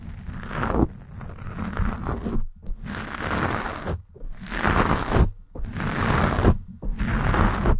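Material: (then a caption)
Foam. Long nails scratch quickly over the black foam windscreen of a Blue Yeti microphone. Dense, rustling scrapes with a heavy low-end rumble come in five bursts separated by brief silent gaps.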